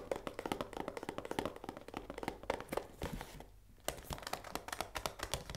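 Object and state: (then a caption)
Full cardboard pasta box. Long nails tap fast on the front face and window of a full cardboard risoni pasta box held in one hand. The result is a rapid run of short, dry taps with a hollow mid-range tone around 550 Hz and a light crinkle. The tapping softens briefly past the three-second mark before resuming.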